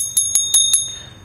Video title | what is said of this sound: Anyfish Stage Reel Berkualitas Yang Jujur 10 Ball Bearing Super Halus | dia model terbaru mangkok seperti ituah pantas saja suaranya nyaring tadi